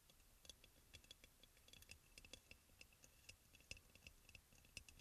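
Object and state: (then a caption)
Ceramic oil burner. Fingertips and nails of both hands tap and lightly scratch the glazed sides of a hollow, white crackle-glazed ceramic aroma oil burner, possibly with a faint whisper. About two dozen quiet, sharp clicks come in an irregular stream, each with a very short, bright ring near 2.6 kHz over a soft scratching hiss.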